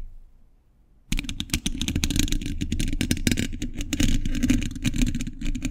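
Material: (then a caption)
Steel mesh. A hollow steel mesh microphone grille is tapped and scratched with metal thimbles. After about a second of near silence, a dense, irregular stream of quick metallic taps and scrapes begins, with a heavy low, boomy thump under bright, crisp clicks that stop almost instantly.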